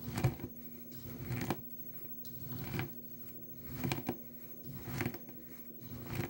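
Crumbled dry blue soap shavings in a small plastic tub are crushed by a nail polish bottle pressed down with the fingers. Dry, low crunches and crumbling crackles come in irregular pushes with quieter gaps between them, and each crunch dies away quickly.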